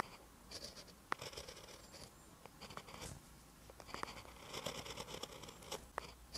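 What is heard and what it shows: A metal-tipped pen writes green Korean characters on a lined paper notebook page, scratching across the paper surface. Quiet, bright scratchy strokes come in short bursts, with a few sharp ticks as the tip meets the page.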